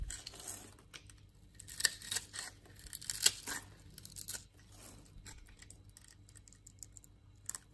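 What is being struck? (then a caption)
Bar of soap. A utility knife blade scrapes and cuts shavings across the patterned surface of a solid green bar of soap held in the hand. Dry, crisp scraping and slicing strokes come in irregular bursts, bright and papery with almost no low end, and each cut stops short with no ring.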